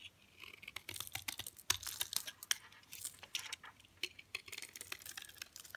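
A hand-sized, solid rectangular bar of hard green Dalan olive oil soap, held in one hand, has flakes shaved and cut off its edge with a blue utility knife blade. A rapid, uneven series of crisp, bright scraping and clicking cuts is heard, each very short with almost no ring and little low end.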